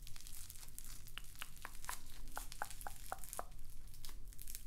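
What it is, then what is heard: Floam (foam bead slime) being squeezed. A palm-sized, solid lump of pink floam, slime packed with small foam beads, is squeezed and kneaded between the fingers and fingertips. It gives off a steady run of fine crackling and crinkling, with short, sharp pops around 800 Hz. A low rumble sits underneath throughout.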